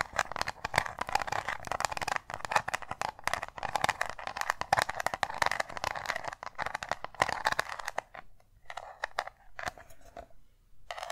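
Long nails tap and scratch a small round metal tin with an embossed lid, making a dense stream of quick, dry clicks and raspy scrapes centered in the midrange with a bright, crackly top. The activity stays busy for about eight seconds, then thins into sparser bursts separated by short silences.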